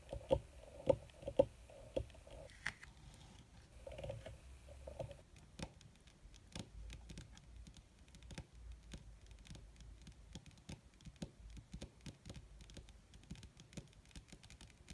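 Long red fingernails on both hands tap quickly across a flat, black, crinkled leather or faux-leather surface. The result is a steady, irregular patter of short, dry clicks. A few louder taps with a brief mid-pitched ring stand out in the first five seconds, then give way to denser, lighter tapping.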